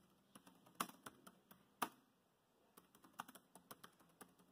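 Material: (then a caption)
Plastic. Fingertips of both hands type rapidly on a dark grey plastic laptop keyboard. About thirteen short, bright clicky keystrokes come in uneven bursts with a brief pause in the middle. Each tap is crisp and dies away almost instantly.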